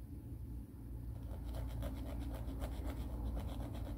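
A grey emery board nail file is held horizontally while the fingertips of the other hand file a nail back and forth along its grit. After a low, steady rumble, soft, uneven rasping strokes start about a third of the way in and continue to the end in a loose, scratchy rhythm.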